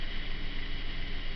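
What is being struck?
Nothing is struck.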